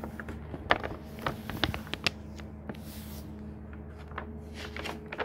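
A hand strokes across a paper page of a thick hardcover book, then the pages flip over with soft, dry rustles and sharp papery ticks. A quiet steady low hum sits underneath throughout.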